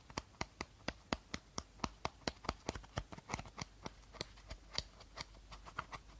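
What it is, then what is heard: Empty plastic bottle. Short nails tap and scratch the body of an empty clear plastic bottle held horizontally. The result is a quick run of sharp, dry clicks with very short ring, some sharper and brighter than others, with faint scratchy rustling between them.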